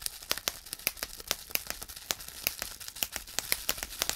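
Fingertips of both hands pinch and squeeze the air-filled bubbles on a large sheet of clear plastic bubble wrap, popping them one after another. A steady run of sharp, bright, dry pops sounds over a faint crinkle of plastic, each snap dying away almost at once.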